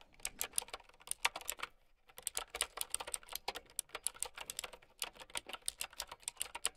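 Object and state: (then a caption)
Plastic mechanical keyboard being typed on. Long nails type fast on a plastic mechanical keyboard with round keycaps, producing a dense run of bright, sharp plastic clicks with almost no ring. The typing pauses briefly just before the two-second mark, then resumes at the same quick pace to the end.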